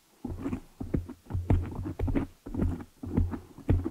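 Long manicured nails on both hands scratch and tap the hollow black foam cover over the head of a large desktop USB microphone, up close. The result is a rapid, uneven series of dull, muffled thumps and rustling scratches in short bursts, heavy in low rumble with little high end and very little ring.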